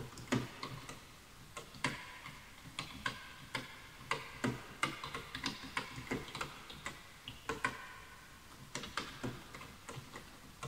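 Fingertips type on a full-size bamboo wood computer keyboard with wooden keys, while the mouse goes untouched. It makes an irregular run of short, dry, woody clicks with bright, clattering tops and a little low thump on the harder strokes. Each tap dies away almost at once over quiet background hiss.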